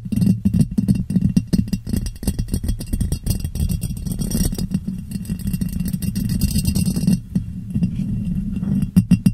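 Long nails and fingertips tap and scratch a clear, ribbed glass jar that sits hollow, empty and upside down over a microphone. A dense run of quick, dry taps and raspy scratches produces a low, hollow thump with a resonance around 184 Hz, each tap dying away almost instantly. The tapping softens slightly in the middle and ends in a few sharper, louder knocks.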